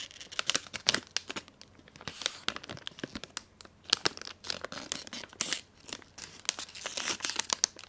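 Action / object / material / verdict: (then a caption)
scrape / metallized plastic film wrapper / plastic film / none. A Magnum ice cream bar wrapper of thin, crinkly, metallized plastic film is held close and torn open and crumpled by hand with long manicured nails and fingertips. Dense, bright crackles and sharp tearing snaps sound in quick irregular bursts, with almost no low end and no ring after each crinkle.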